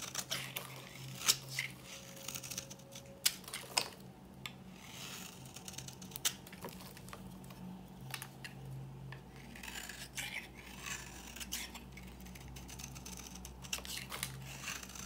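An old, dry, solid yellow bar of soap, palm-sized and held in the hand, is scraped and cut with a metal blade into crumbly flakes and powder. Quiet, bright scraping rasps mix with sharp, crisp snaps at irregular intervals over a faint steady low hum.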